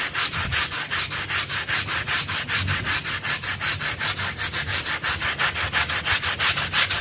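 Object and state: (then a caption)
Synthetic pile rug scrubbed with a brush. A pink brush with stiff green bristles scrubs a small, dirty, blue synthetic pile rug that is wet and covered in soap foam. Quick back-and-forth strokes, nearly three per second, make a steady, bright, rasping swish, with each stroke clearly separated and a faint low wet thump underneath.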